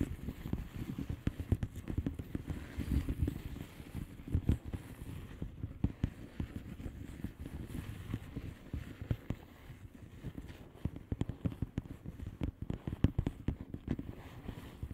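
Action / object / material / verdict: tap / plastic bubble wrap mailer / plastic / none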